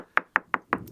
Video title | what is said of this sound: Never too late! | if you've got high moisture in the boat, you can start to hear the differences of of of how the laminate sounds and feels on your hammer